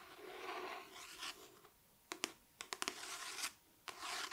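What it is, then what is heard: Paperback book. Long dark nails trace and tap across the paper cover and spine of a paperback copy of "The One Hundred Years of Lenni and Margot," held upright in one hand. Soft, bright scratching and rubbing swells fill the first two seconds, followed by seven sharp, crisp taps with more light scraping between them.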